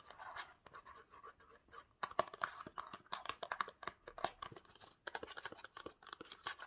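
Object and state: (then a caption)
Cardboard box scratched and tapped. A small rectangular printed cardboard Pantene box is scratched and tapped with short nails and fingertips. The result is a quiet, dry stream of quick scratches and light taps, centered in the midrange around 1 kHz with some brighter crisp edges, and little low end.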